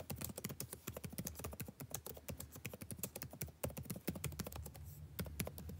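Fingertips type continuously on the blue-backlit plastic keycaps of a dark laptop keyboard, making a rapid stream of short, dry clicks and taps. Each tap is crisp and dies away almost instantly, over a faint steady low hum.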